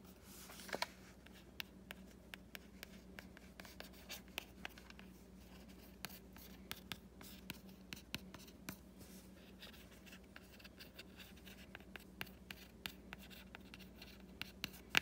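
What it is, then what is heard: Hardcover book cover scratched with a fingernail. A fingertip with a short painted nail traces and scratches across the solid printed paper-over-board cover of a Wimpy Kid Movie Diary hardcover book. Quiet, bright scratching is punctuated by many short, sharp nail ticks over a faint, steady low hum.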